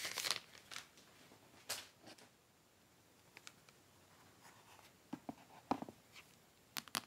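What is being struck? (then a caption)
Aluminum and glass tablet. Medium-long manicured nails and fingertips scratch and tap the aluminum back of a thin, flat tablet about 25 cm wide lying on its white box, then its glass screen after it is flipped over. Quiet, bright, crinkly scratching bursts alternate with short, sharp taps that die away almost instantly, separated by near-silent pauses.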